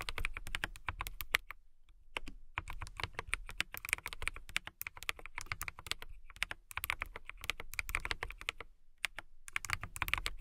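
Fast typing with fingertips and long nails on a transparent mechanical keyboard with clear plastic keycaps, heard as a dense stream of crisp, bright plastic clicks with some low thock from the keys bottoming out. Each keystroke is short and dry with almost no ring, and the typing stops briefly a few times before resuming.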